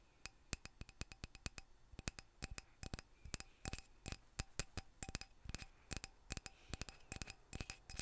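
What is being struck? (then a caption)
Lignum vitae wooden mallet handle. Quick, dry taps on the handle of a lignum vitae wooden mallet land in an uneven rhythm. Each is a short, crisp click with a bright edge and almost no ring. The taps are soft and close-up over a quiet background.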